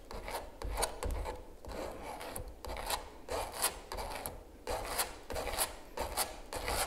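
A palette knife scrapes and rubs continuously over the surface of a large stretched canvas giclee print lying on a table. Repeated raspy strokes swell and fade, each carrying a bright, hissy edge over a steady low rumble.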